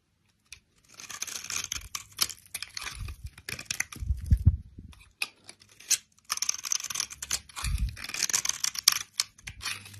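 A solid bar of brown soap held in the hand is scraped with a utility knife blade, carving it into thin flakes and small cubes. Dense bursts of bright, dry scraping and crisp tearing-like crackles come in quick succession, with a few low thuds mixed in.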